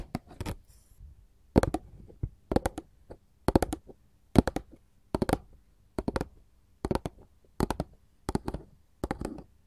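Long gold filigree metal finger claws tap and scratch a glossy printed paperboard candy box up close. Quick bursts of dry, clicky taps come in regular groups, with bright tips and a dull papery thump underneath. Each tap stops almost at once, leaving no ring.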